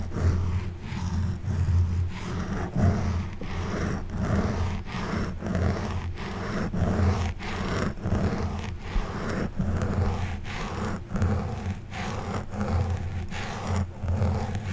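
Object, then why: Foam microphone windscreen scraped with a plastic back scratcher. An orange plastic back scratcher's forked tip is dragged in slow strokes over the black foam windscreen of a silver Blue Yeti microphone. The result is a steady, deep, muffled scraping rumble with brief pauses between strokes.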